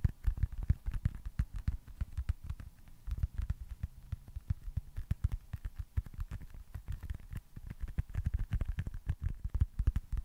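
A small, solid, smooth white foam stress ball with red baseball stitching is tapped and scratched with fingertips and nails beside the mic. The result is a rapid, uneven stream of soft, dry, muffled thuds with almost all their weight in the low end, and faint scratchy crackles between them. Each tap dies away instantly, with no ring.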